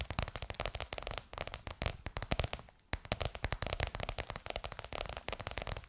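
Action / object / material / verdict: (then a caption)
tap / embossed faux leather cover over a hollow form / faux leather / none. Long white almond-shaped nails rapidly tap and scratch bronze-gold crocodile-embossed faux leather stretched over a curved hollow form, likely a microphone. The result is a dense, crackly stream of short, dry clicks with a low thump under each tap and bright scratchy texture on top. The taps briefly fade to near silence just before the 3-second mark, then resume.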